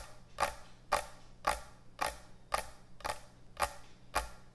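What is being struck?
Thick wooden end-grain butcher block cutting board.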